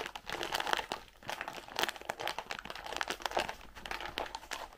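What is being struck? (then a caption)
Cardboard candy box. Long pink nails tap and scratch the faces and corners of a white printed cardboard Raffaello candy box, hollow and filled with candies, as it is held in both hands and turned. A steady run of dry, crinkly taps and scrapes with no ring, sitting in the mids with bright edges.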